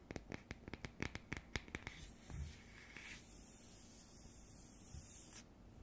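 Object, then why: Round cardboard coaster. Long nails and fingertips work over the surface of a round cardboard coaster, first with about 13 quick, dry taps and scratches in the opening two seconds. These give way to a steady, soft rubbing hiss that stays bright until it stops near the end.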